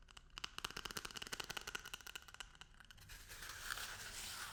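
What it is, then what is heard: Toilet paper roll tapped. A paper toilet roll is tapped in a quick run of light, dry, papery taps with a bright crinkly edge for about three seconds. The tapping then gives way to a steady, hissy rubbing across the roll that grows slightly louder toward the end.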